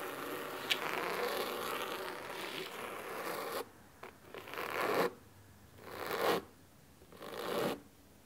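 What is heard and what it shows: Medium-long natural nails scratch the cloth top cover of a large, solid blue cloth-bound hardcover book lying flat on a wooden table. A steady, dry, bright rasping runs for the first few seconds. It then breaks into three separate swelling strokes, each separated by near silence.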